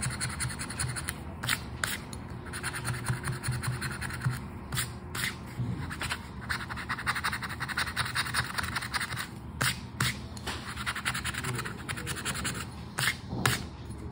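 A flat paper Joker lottery scratch card lying on a dark surface has its scratch-off panels scraped with the edge of a red and gold token held in one hand, while the fingers of the other hand hold the card. A steady, dry, gritty scratching continues throughout, with repeated short, bright scraping bursts over a low rustle.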